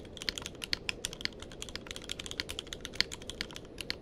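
A tenkeyless mechanical keyboard with plastic keycaps is typed on continuously with the fingertips of both hands. About 28 short, sharp, bright clicks sound in quick, uneven succession over a soft low hiss, each dying away almost instantly.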